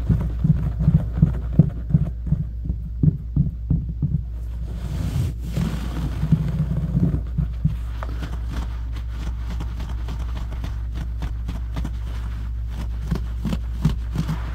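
Fingertips and short nails scratch and dig fast into a low-pile brown synthetic carpet floor, then knuckles press and rub the pile. The result is a quick, uneven run of dull, muffled scratching thumps, nearly all low in pitch, over a steady low hum, with a softer, hissier rubbing stretch in the middle.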